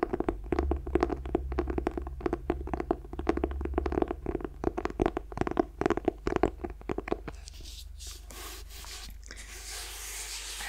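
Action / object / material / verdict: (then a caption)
scrape / clothbound hardcover book / cloth / none. Fingertips rub and scratch the cloth cover of a closed, solid green clothbound hardcover book with a red bird pattern, held in one hand. The result is a rapid run of dry, scratchy strokes over a steady low hum for about seven seconds. It then fades to a soft, quiet hiss.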